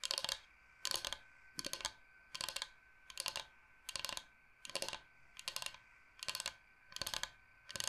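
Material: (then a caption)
Bamboo. Fingernails tap quickly on a large, flat, solid bamboo cutting board shaped like the state of Michigan. About eleven short bursts of rapid, dry, bright clicks come in an uneven rhythm, with almost no low end, each tap dying away almost at once into a faint steady hum between bursts.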